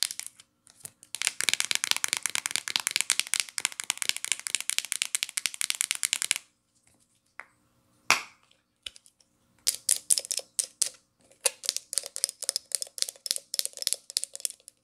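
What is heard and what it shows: Long nails rapidly tap and scratch the hollow teal plastic flip-top cap of a shampoo bottle, making dense, bright, crisp clicking with almost no low end. A steady flurry of quick clicks runs for about five seconds, then a pause broken by one sharp tap. Clustered bursts of tapping resume to the end.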